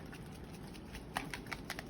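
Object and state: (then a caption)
Airbrush paint bottle with a mixing ball inside. A plastic bottle of water-based airbrush paint is shaken so the small metal mixing bearing inside clicks around, like the ball in a spray paint can, to mix the fine pigment so it won't separate and clog the airbrush. Soft, muffled rattling over a low rumble gives way to a series of sharper, bright clicks in the second half. This confirms the bottle holds a mixing ball, as expected.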